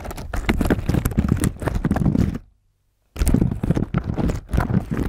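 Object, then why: Plastic keyboard covered in slime. Fingertips of both hands type and press through a layer of dark blue slime covering the keys of a slim black plastic keyboard lying flat on a table. Dense, muffled, squelchy taps and low sticky clicks come in quick runs, broken by about a second of silence before the typing resumes.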